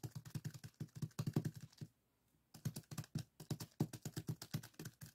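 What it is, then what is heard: Plastic zip bag of sand. Fingertips rapidly tap a small clear plastic zip-lock bag full of purple sand granules resting on a wooden table. About 34 short, dry, muffled thuds are heard, deep and low-pitched with a soft crinkly edge, in two bursts separated by a brief pause just before the midpoint.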